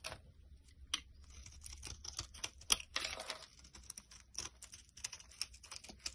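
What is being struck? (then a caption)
Bar of soap scraped with a blade. A metal utility knife blade scrapes brittle flakes off a solid, rounded olive-tan bar of dry soap held in the palm. Quick, crisp, bright scraping crackles come in a rapid, uneven series, with a few sharper snaps standing out. Each one stops almost instantly over a faint low background hum.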